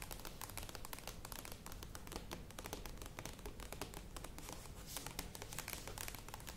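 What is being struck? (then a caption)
Plastic yogurt tub. Long acrylic nails tap rapidly on the sides of a medium, hollow, cylindrical Kokos Natur plastic yogurt tub with a lid, standing on a table. The result is a dense, steady stream of quick, dry clicks with a bright top and a low hollow body, each tap dying away almost at once.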